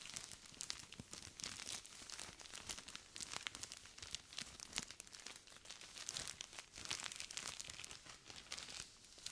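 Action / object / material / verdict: shake / plastic zip-lock bag filled with sand / plastic, sand / none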